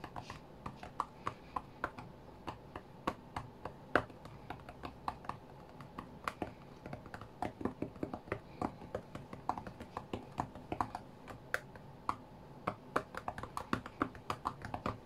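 Fingertips and nails of both hands tap the glass touchscreen of a white iPad lying flat on a mat. The result is a quick, irregular stream of many short, dry, quiet clicks centered in the midrange, each dying away almost instantly over a faint low background hum.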